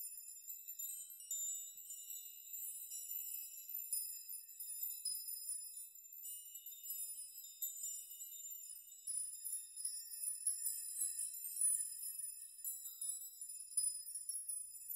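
A steel nail chime made of many long hanging steel nails is grabbed by hand and swayed, rocked and shaken so the nails clink together. The result is a quiet, continuous shimmer of bright, high metallic tinkling with overlapping pings that ring briefly, with no low end.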